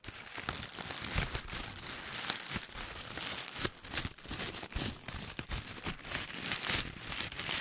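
Fingertips squeeze and rub a loose, hollow ball of crumpled paper held close, making dense, continuous crinkling with sharp bright crackles. The sound stays busy and papery throughout, with many quick snaps that die away almost at once.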